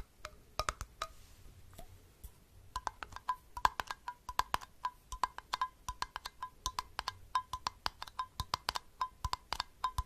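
Fingertips tap a small, hollow glass jar, striking both the glass body and its flat metal lid. The rapid stream of short, dry taps rings near 1 kHz with bright clicky edges, becoming denser and more regular after the first few seconds.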